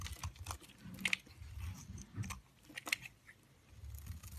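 A cream-colored solid soap bar held in the hand is shaved with the blade of a yellow-handled utility knife. Short, crisp scraping crunches with bright, dry edges sound over a soft low rumble. Each cut stops abruptly with no ring.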